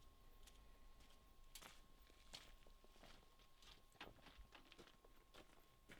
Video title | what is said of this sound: Jaguar XJ6 and Mercedes W210 Mashup OM606 Power! | if the engine hits the hood the sound will be not as Hollow